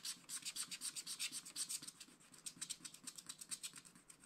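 A wooden stylus rubs and scratches away larger areas of the coating on a fish drawn on a black wax-coated scratch-art card, in dense strokes. The result is a quiet, bright, dry rasping made of a quick, somewhat uneven run of short strokes, each dying away at once with almost no low end.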